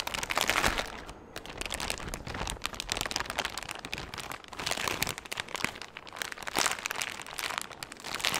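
A large, empty, thin clear plastic bag is held close and crinkled and squeezed with the fingers. The result is continuous bright, crackly rustling that swells and fades in waves, with little low end.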